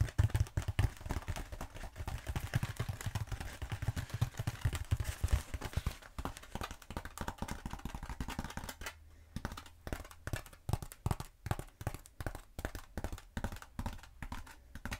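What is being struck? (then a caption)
Bead foam roller. Long acrylic nails tap and scratch a long black bead foam roller, held upright and then horizontal. Dense, rapid dull tapping and scratching comes first, then gives way to more spaced, crisp, short taps with a deep, muffled body and almost no ring.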